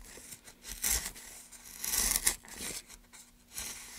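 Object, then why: Pine wood board. A gouge is run along a long groove in a solid, light pine softwood plank held in gloved hands, carving and scraping the wood. Several bright, hissy scraping strokes rise and fall, the loudest around the middle, with quieter rasping in between.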